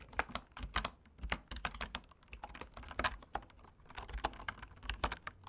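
Fingertips type rapidly on a full-size bamboo wood computer keyboard resting on a cork desk. The key presses come as a quick, uneven stream of short, dry clicks, each with a soft low thud and a bright tick that dies away almost instantly.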